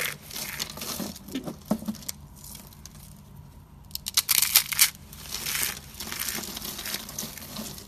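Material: Soap.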